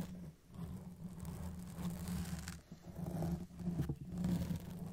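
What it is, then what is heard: Foam microphone windscreen being scratched. Long press-on nails scratch the top and sides of a black foam cover on a Blue Yeti microphone with slow strokes. The result is a dense, muffled, low scratching rumble that swells and fades with each stroke, with almost no bright content.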